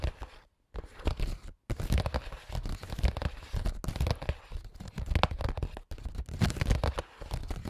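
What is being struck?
Clear plastic pouch.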